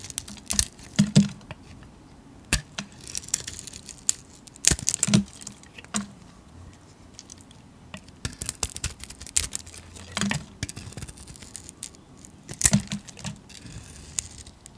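A metal blade shaves the glittery grey painted shell and the soap beneath off a solid white soap bar held in the hand. Irregular bursts of crisp, bright scraping and crackling are heard, separated by short quiet gaps, with a soft low rustle underneath.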